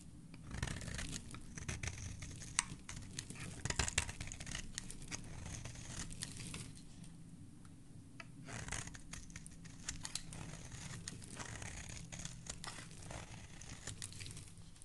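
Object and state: Soap bar being shaved with a blade.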